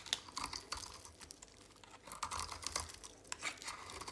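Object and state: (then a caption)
Dry soap bar. A utility knife blade shaves flakes off the edge of a dry, oval, solid pink soap bar held in a hand with long pink nails. Quick, bright, crisp scraping and crunching strokes follow one another in a rapid, irregular rhythm, each dying away almost instantly with little low end.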